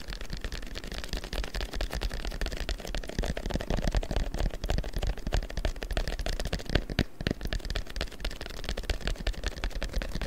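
A long, thin strip of printed paper is held taut in front of the microphone and tapped and rubbed with the fingertips. The result is a dense run of rapid, dry taps and crinkly rustles over a steady low thump, with short bright clicks on top.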